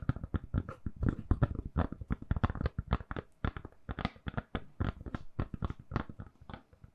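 Long nails tap and scratch a hand-sized, solid, lilac silicone-covered phone case fitted on a phone while it is tilted. The result is a quick, uneven stream of soft, dull taps, mostly low and thuddy, with short bright scratchy edges and almost no ring after each hit.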